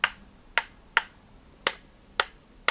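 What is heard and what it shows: Six sharp, dry clicks from an AMC plastic power strip being operated, each short and bright with almost no ring. The firm, dense clicks reflect a solid, well-built strip rather than a cheap, thin-sounding one.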